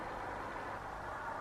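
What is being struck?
Nothing is struck.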